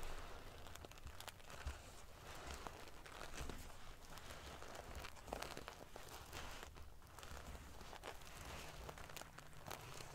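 Fingernails scratch and ruffle the silver metal paillettes covering a sequin pillow. The result is a steady, quiet stream of prickly, crinkling rustles with bright, sharp clicks scattered throughout over a low rumble.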